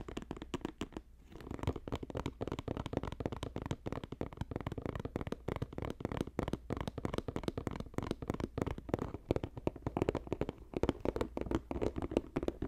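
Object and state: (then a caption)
Woven basket. Fingertips tap rapidly on a woven basket, making a dense, continuous patter of soft, dry clicks with a low, muffled body and little high end. After a brief pause near the one-second mark, the quick tapping resumes and carries on steadily to the end.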